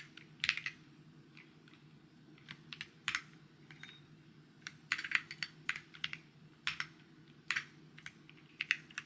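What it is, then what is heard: Plastic mechanical keyboard. Fingertips type on a white plastic mechanical keyboard with plastic keycaps, producing short, bright clicks and taps in uneven bursts over a faint low hum. The keystrokes are quiet and crisp with almost no ring, some landing close together in rapid clusters.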